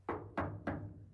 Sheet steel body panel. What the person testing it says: l'épaisseur de la tôle cool non ouais ça sonne bien